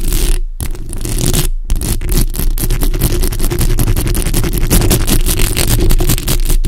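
Long acrylic nails on both hands scratch and tap the hollow metal mesh grille of a black, bare condenser microphone head. The result is a dense, continuous stream of rapid scratchy ticks over a heavy, boomy low rumble, with two brief gaps in the first two seconds.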